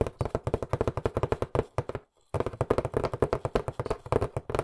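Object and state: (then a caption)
Cardboard box tapped with fingertips. A hollow, medium-sized white printed cardboard box, held in both hands, is tapped rapidly with fingertips and nails. About 29 quick, dry, hollow taps with a boxy mid-range tone around 418 Hz each die away almost instantly. The taps pause briefly around the two-second mark before resuming.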